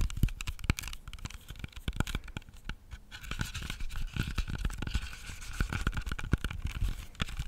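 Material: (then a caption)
Apple skin. Fingernails tap and scratch the smooth skin of a whole, solid, hand-sized red-yellow apple held close to the mic. Rapid, dry, short clicks with soft low thumps are heard, mixed with a scratchy hiss. From about the three-second mark a thin whistly tone runs under the taps.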